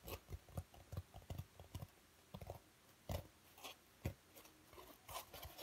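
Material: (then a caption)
Foam. A thick, hand-sized dark grey foam packing insert with recesses is held in both hands while fingertips tap, squeeze and scratch its soft surface. The result is a quiet, irregular series of soft, muffled low thuds, with a few brighter scratchy rustles mixed in, each dying away almost at once.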